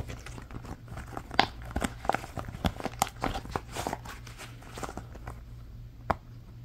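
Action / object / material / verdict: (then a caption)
tap / silicone pop-it toy / silicone / none. Thumbs and fingertips push the hollow bubbles on an orange rectangular silicone pop-it toy, popping them row by row. The result is an irregular series of soft, dull pops and light clicks with brief crinkly textures over a quiet, steady low hum, with a couple of sharper, louder pops standing out.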